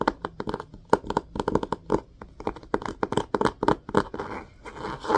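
Fingernails scratch and rub the spine of an orange-spined hardcover book with a cloth-covered board cover, held spine up and solid. A rapid series of short, dry, mid-toned scratches ends in a softer, continuous rubbing.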